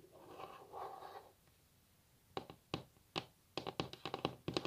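Long natural nail tips scratch and then tap on a solid wooden table top. A soft, two-part scraping rustle fades into quiet, followed by a series of sharp, dry clicking taps that come faster toward the end. Each tap is bright with a woody body around 360 Hz and dies out almost instantly.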